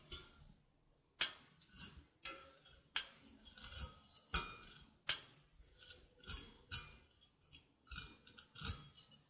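Dark-painted fingernails pluck and scratch across the thin taut steel cutting wires of a handheld stainless steel egg slicer with a hollow open frame, held close to the mic. A series of bright, twangy metallic plucks and scrapes follows, each fading quickly with only a short ring.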